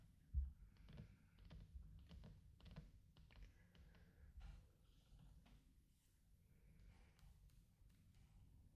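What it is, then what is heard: Wax pillar candle. A large, thick orange wax pillar candle with a burned-out hollow centre and a solid wax wall is held upright on a tray while fingertips and nails tap and rub along its outer side. The result is a quiet, continuous run of soft, dull taps and light scratchy rubbing, mostly deep and muffled with short decay, with one louder tap near the start.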